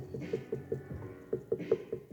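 Nine short, dry taps on a thick spot at the bottom of a leather-hard clay bowl attached to a potter's wheel give a lower, muted tone around 450 Hz with almost no ring. The lower tone means the clay is thicker there and quite a bit of material can be trimmed away.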